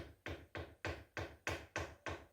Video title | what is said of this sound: Stealth Strips From Stealth Outdoors! A New Must Have for Me! | if you knock an arrow into it where it's still stripped okay nice and quiet